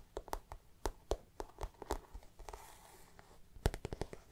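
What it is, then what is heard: Plastic-coated handbag. Long black nails scratch and tap the shiny, plastic-coated floral panel of a glossy handbag held close. Sharp, crisp clicks sound in quick irregular bursts with soft scratchy rustling in between, and a brief airy scrape near the middle.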